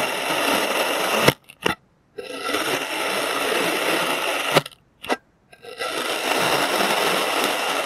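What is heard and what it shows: A clear plastic serrated knife slices thin layers from a molded solid green kinetic sand shape. Two long, gritty, bright scraping passes each end in a sharp snap followed by a brief second scrape, with short silences between the cuts.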